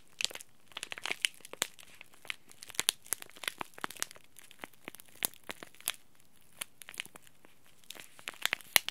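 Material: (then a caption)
Plastic foil. A small green laminated plastic-foil tea bag packet is crinkled and rubbed between the fingers and thumb. It makes a steady run of sharp, bright crackles and crinkles that stop instantly with no ring, over a quiet background.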